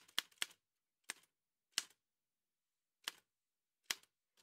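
Fingertips in white satin gloves strike the keys of an old dark-grey metal manual Remington typewriter with a hollow body and paper loaded. Six sharp, bright clacks sound at uneven intervals, each dying away almost at once with no low end. The taps are quiet and crisp, with short rattly tails after some strikes.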